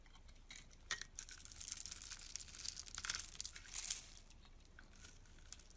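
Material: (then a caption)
Soap. A utility knife blade scrapes across a solid teal soap bar with a scored grid, held in the hand, and small cubes crumble off. The sound is a dense run of crisp, bright scratching and crackling with short clicky snaps, quiet at first, then building in the middle before easing back.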